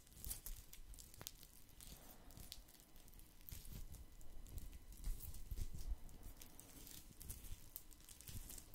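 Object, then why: Woven straw placemat. Fingertips scratch a round woven straw placemat that sits mostly below and behind the mic, making a steady, irregular patter of dry crinkly scratches. The texture is soft and muffled with a low thumpy body, and brief bright ticks flicker over it, swelling a little louder near the middle.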